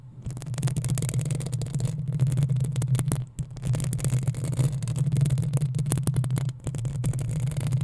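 Long acrylic nails on both hands scratch the hollow metal mesh grille of a black desktop USB condenser microphone. The result is a dense, continuous scratching and rattling with a strong low hum around 130 Hz, many crisp ticks, and brief dips in level near 3.3 and 6.6 seconds.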